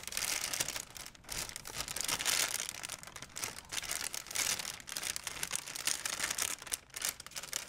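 A wrinkled white plastic shopping bag is held flat, then crumpled and folded by hands. It gives a steady run of bright, crisp crinkling that swells and dips in short bursts, with almost no low end.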